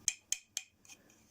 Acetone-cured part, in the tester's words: It's starting to ring a bit now, which is a sound that it's getting really hard